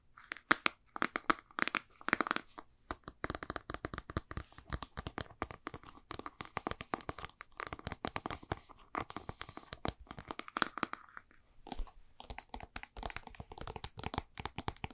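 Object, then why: Plastic supplement jar. A white plastic supplement jar with a blue label and ridged white lid is turned in the hands while long painted nails tap and scratch its lid and sides. Quick, dry clicks and scratchy crinkles run fast and continuously, with very little ring after each tap.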